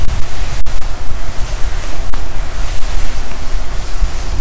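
Palms rub the padded lower front of a worn black quilted nylon puffer jacket, then move to the forearm sleeve. The result is a continuous, heavy swishing rustle with a deep, rumbling low end and steady broadband hiss, rising and falling with each stroke.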